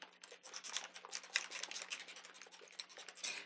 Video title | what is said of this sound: Top Tips for Working with Mica Mists | when you start shaking it you hear that ball rattle around